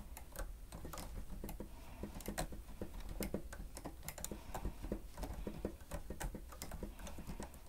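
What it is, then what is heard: Plastic stenotype keyboard being typed on. Fingertips of both hands press and tap the keys of a grey plastic stenotype keyboard with a hollow housing while typing. The result is a quiet, steady stream of rapid, irregular clicks and soft taps, each short and dry with a hollow thump. A low rumble sits underneath throughout.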